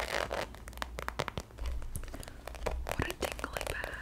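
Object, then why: Faux leather handbag. Long acrylic nails scratch and tap across the surface of a medium-size, hollow, black glossy croc-embossed faux leather handbag. Quick, sharp clicks sit over a dry scratching rasp and a low hollow hum.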